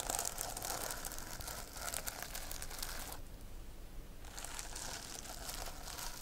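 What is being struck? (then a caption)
Plastic sequin notebook cover. Long nails stroke and scratch the reversible plastic sequins on a sequin-covered notebook cover, flipping their colors with a dense, bright crinkling rasp. The scratching eases into a softer, duller stretch for about a second in the middle, then resumes with the same crisp texture.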